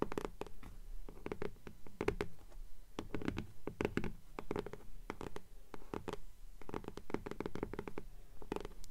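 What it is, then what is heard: Hardcover book with paper jacket, scratched and tapped. Long nails scratch and tap the front cover of a blue hardcover "Fairies" book with a paper dust jacket, held upright in both hands. Quick, dry, irregular taps come in clusters between soft scratching, each hit with a dull, low, thumpy body, a brief bright click and almost no ring.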